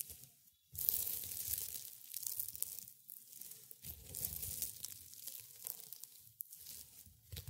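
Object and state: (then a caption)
Dried rosebuds crushed, brittle. A pile of brittle dried rosebuds and petals on a white cloth is crushed between fingers in black and gray felt gloves. After a brief near-silence, bright, crisp crunching and tearing crackles come in uneven bursts with a soft low rustle beneath.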